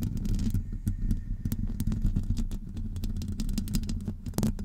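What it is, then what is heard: Metal mesh microphone grille. Long acrylic nails on both hands scratch a hollow metal wire-mesh microphone grille, making a steady, dense scraping rumble that sits mostly in the low range around a deep hum. Quick bright ticks and scratches flick over the top throughout, each dying away almost instantly.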